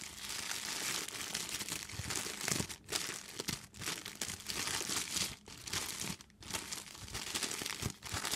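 An empty, clear, thin plastic bag is crinkled and squeezed by hands with long nails. The result is a dense, bright, continuous crackling and rustling, broken by a few brief pauses as the grip shifts.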